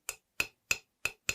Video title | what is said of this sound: 橡皮树怎么养 - How to grow rubber plant | 这个声音是非常清脆的就说明呢盆土和盆壁有可能是干的有点空了里面有一定缝隙